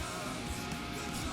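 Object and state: Nothing is struck.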